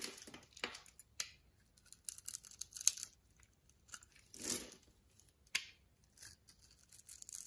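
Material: Soap.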